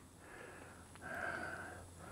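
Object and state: Nothing is struck.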